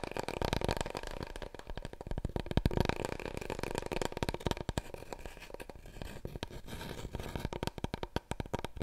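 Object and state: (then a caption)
Long cardboard roll core. Long nails rapidly tap and scratch the surface of a large, long, hollow, empty brown cardboard paper roll core held upright in both hands. Dense, quick, dry taps with a hollow, low, boomy resonance around 94 Hz, and softer scratchy rustling between them. The tapping continues unevenly throughout, with a few louder knocks near the middle.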